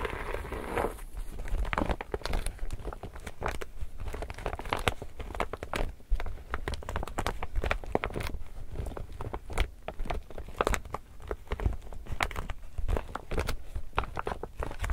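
An empty, glossy, illustrated laminated polypropylene tote bag is held up while fingers crinkle it and scratch it with their nails. The result is a steady, dense stream of crisp crinkles and crackles, with short sharp bursts over a low-heavy rustle that keep going throughout.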